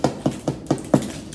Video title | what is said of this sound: I Don't Buy Sourdough Bread Anymore! 2 Ingredient Sourdough Bread (No starter or yeast) | When you tap on the bottom, it sounds hollow. That's how you know you got it right.